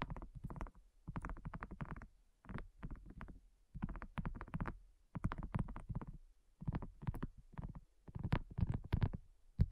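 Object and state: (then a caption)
Silicone coaster. Long nails and fingertips tap rapidly on a flat, round, pink dotted silicone coaster that is thin and solid. The taps come in quick bursts separated by short pauses, making soft, dull, low thuds that stop almost instantly, with no bright edge.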